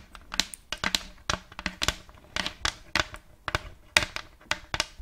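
Long nails scratch along the surface and rim of a round, thin plate of checkered light wood held close to the microphone. A quick series of short, dry, rasping strokes comes through, bright and airy with little low end. Each stroke dies away almost at once.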